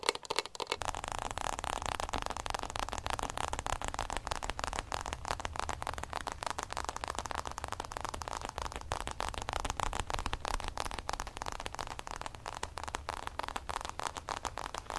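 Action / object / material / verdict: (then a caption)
tap / fabric-covered EVA hard-shell case / EVA foam / none. Fingertips rapidly tap and scratch the lid of a hollow, oblong hard-shell zip case with a fabric-covered EVA shell and printed logo, held in both hands. Dense, crackly taps and scrapes run steadily throughout, with a dull, hollow low thump under bright scratchy texture.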